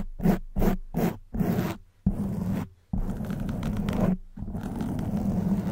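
Long white nails scratch the front and sides of a soft black foam windscreen on a silver condenser microphone. A few short, quick scratches give way to longer continuous ones. The sound is a muffled, low, rumbling scrape with almost no high content.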